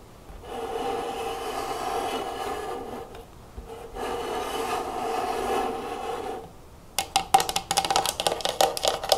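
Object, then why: Clear plastic canister filled with cotton swabs. Long nails and fingertips work over a medium clear plastic, likely acrylic, storage jar with a metal clasp, full of cotton swabs with its lid closed. Two long, steady scratching strokes with a hollow midrange tone come first, followed by a quick run of about 12 sharp, bright taps on the lid and sides.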